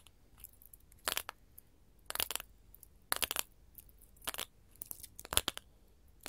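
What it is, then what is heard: Glass mosaic tile sheet. Gold metal filigree finger claws tap on a solid sheet of small colored glass mosaic tiles, close up. Quick, bright clicking comes in short bursts of several taps each, and every tap dies away almost instantly between the bursts.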